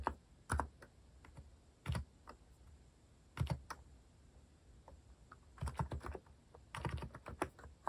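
Fingertips type quickly and continuously on a compact white-cased mechanical keyboard with plastic cat-themed keycaps. The keys give short, dull clacks in uneven bursts and flurries, with brief pauses between runs and very little ring after each stroke.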